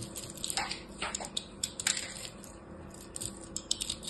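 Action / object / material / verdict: scrape / pressed soap-chip ball cut with a blade / soap / none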